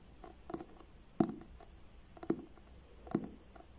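Fingertips and short nails slowly tap the front of a medium, solid paperback book with a blue card cover, held upright in both hands. The taps are soft, dull and short, coming at an uneven pace, with a few louder knocks standing out among fainter ones in a quiet, close setting.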